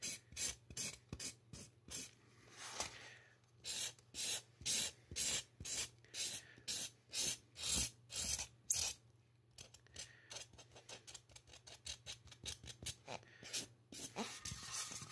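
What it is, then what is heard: Marker scratching styrofoam head. A black-gloved hand rubs and scratches a black marker in quick strokes across a life-size, solid white polystyrene foam mannequin head near the ear and temple. The result is a bright, dry rasp in about 33 short bursts, roughly two per second, over a faint low steady hum.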